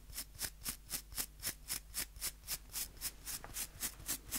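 Fingernails flick across the white plastic bristles of a small, solid wooden nail brush in a steady rhythm of about four strokes per second. Each flick gives a short, bright, crisp bristle rasp that cuts off almost at once, about fifteen in a row.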